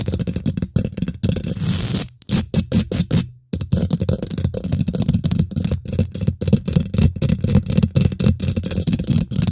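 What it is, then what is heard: Metal mesh microphone grille being scratched and tapped. Long nails and fingertips of both hands quickly scratch and tap the domed, hollow woven metal mesh grille of a large silver condenser microphone. Dense, rapid, dry taps and scratchy rustles sit mostly in the low end around 113 Hz, with a few brief silent gaps.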